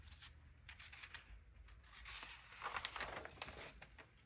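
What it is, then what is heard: Old paper magazine pages. Fingertips turn and rub the aged pages of a thin 1947 vintage paper magazine, the pages bending as they go. Soft, bright rustling and crinkling rises and falls, swelling into a louder crackle of paper near the middle before settling back to quiet brushing.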